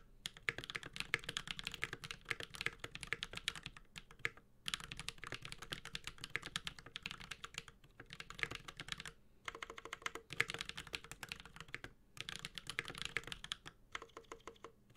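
Both hands type continuously with their fingertips on a Space65 Cybervoyager, a 65% mechanical keyboard with a metal case, Holy Pandas switches and plastic ABS keycaps. Dense, bright, clacky keystrokes with very short ring arrive in rapid bursts. Brief pauses come around 4, 8, 9, 12 and 14 seconds.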